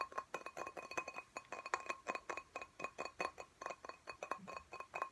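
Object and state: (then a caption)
Glass plant pot tapped. Fingernails tap rapidly on the glass wall of a small, clear glass plant pot filled with soil and a cactus. About thirty quick, bright clinks ring near 1 kHz and die away almost at once. The taps come in a steady, fast run for about five seconds.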